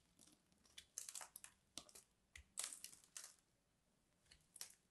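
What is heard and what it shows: A small metal blade scores and flakes the surface of a solid, hand-sized purple bar of soap held in one hand. A series of short, dry, bright scratching and crunching bursts are heard, separated by quiet gaps, as flakes are shaved off.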